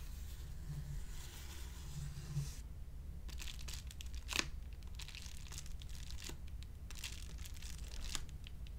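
A closed, medium white plastic padded poly mailer envelope lies flat on a table while fingertips and nails scratch its surface. The result is a run of quick, bright, zipper-like scraping strokes over a steady low rumble, with one sharper, louder stroke partway through.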